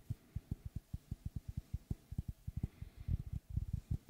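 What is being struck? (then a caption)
Round wooden log slice. Fingertips tap and knock on the wooden face of a large, round, solid log slice with a bark rim, held in both hands. A quick, uneven series of short, dull, low thuds, each dying away almost instantly, comes steadily at first, then grows louder and more crowded toward the end.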